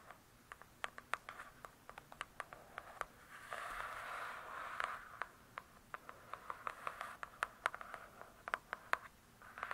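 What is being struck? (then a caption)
Hardcover book with glossy cardboard cover. Long nails tap and scratch the glossy cardboard cover of a large, closed hardcover book. Crisp, quick, dry taps with almost no ring are heard throughout, with a brief continuous scratching stretch in the middle. The sound centres around 1 kHz with little low end.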